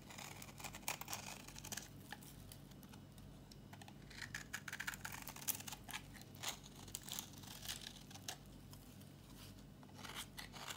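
A thin, solid, dry tan bar of brown soap held in the hand is scraped with a metal utility blade. The result is a quiet run of brief, dry, bright scratching and crackling strokes with no ring, over a low steady hum.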